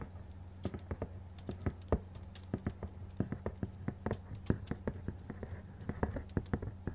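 Fingernails tap fast on the faces of a medium, hollow, printed cardboard retail box, giving a rapid, irregular patter of short, dry clicks. Each tap dies away almost at once over a steady low hum.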